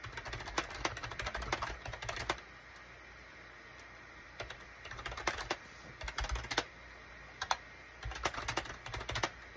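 Fingertips type on a full-size gray and beige SHIPADOO K600 wired USB plastic keyboard with hollow plastic keycaps. Bursts of quick, light clacking taps come in three stretches separated by short pauses. Each keystroke is a dry, short-lived click.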